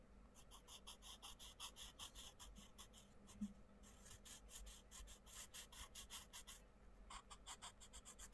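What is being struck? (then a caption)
Wooden coloured pencil on a paper colouring book page. A wooden coloured pencil scratches across a paper colouring book page in short, rapid colouring strokes while the other hand presses the page flat. The result is a steady run of bright, dry scratchy rasps with brief pauses between bursts of strokes and a faint low hum underneath.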